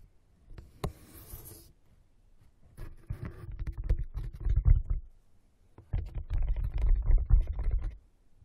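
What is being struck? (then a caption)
Corrugated cardboard box. Fingernails quickly scratch and tap on the walls of an open, hollow brown corrugated cardboard box resting on carpet. A sharp tap and a brief bright hiss come first, followed by two dense bursts of low, boomy, hollow scratching and tapping with a quiet gap between them.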